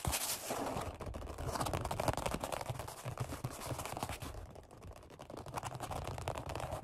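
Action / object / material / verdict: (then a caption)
scrape / vinyl-upholstered foam bench pad / vinyl / none. Fingertips and short nails rapidly tap and scratch the black padded vinyl-over-foam seat of a Flybird workout bench. The sound is a dense, continuous flurry of dull, low thumps mixed with bright, scratchy rasping. It stays busy for about seven seconds, easing slightly near the middle before picking back up.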